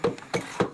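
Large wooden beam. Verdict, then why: Hollow. A large wooden piece is knocked four times by hand, the second knock faint, giving short, dull, hollow thuds with a mid-pitched tone around 490 Hz and almost no ring. The wood sounds hollow, suggesting a wooden structure behind it.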